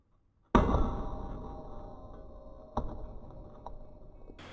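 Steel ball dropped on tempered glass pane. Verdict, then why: Intact. A 500 g steel ball, dropped with the force of a hammer blow, strikes a pane of chemically tempered glass with a sharp, loud clang. A ringing tone slowly decays, followed by two smaller impacts. The tempered glass withstands the impact and stays intact.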